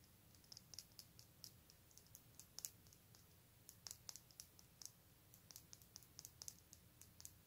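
A metal ball chain with a small solid metal winged-skull pendant is held in both hands and shifted and fiddled with the fingertips. It gives a quiet, irregular run of tiny, bright clicks and ticks that die away almost instantly, over a faint low background hum.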